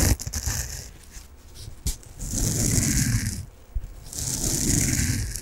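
Long nails scratch a peach foam bath sponge with a string loop, making a dry, rasping scrape with a low rumble and a bright hiss on top. Short scratchy bits at the start give way to two longer, steady scratching passes that swell and fade.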